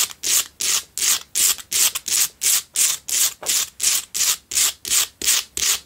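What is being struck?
Himalayan rock salt tealight holder.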